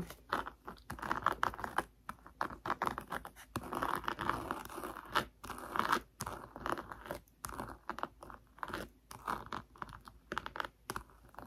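Long nails scratch back and forth across a coarse silver glitter moon patch on a page of a cardboard board book. The result is a steady run of dry, gritty scratching strokes with short pauses between them, with most energy in the mid range around 1 kHz.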